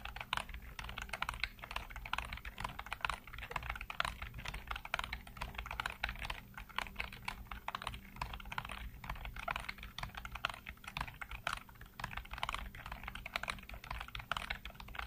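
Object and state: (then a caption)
Plastic computer keyboard being typed on. Fingertips rapidly tap and type on a full-size black plastic computer keyboard with hollow keycaps. Dense, quick plastic clicks and clacks run continuously, each dying away almost instantly, over a faint steady low hum.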